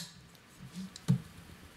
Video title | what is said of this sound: Cobalt Custom Knives SUG Pocketknife. Fablades Full Review | no rattling when you shake this fella